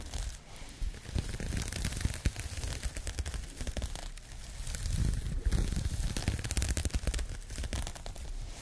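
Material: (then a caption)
Yarn. Long nails scratch across a pink crocheted yarn bag, making a continuous scratchy, crackling rustle dotted with many quick bright clicks. A low, soft thudding runs underneath, and the scratching swells louder around the middle before easing off.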